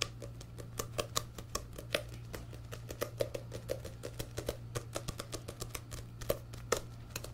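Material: Paper.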